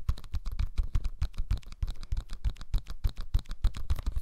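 A small, flat, yellow cellulose sponge, porous and soft, is held in both hands close to the microphone and scratched and squeezed with the fingertips. It makes a rapid, irregular series of short, dry, crackling scratches with no ring, heavy in low, muffled rumble and with faint bright crackle on top.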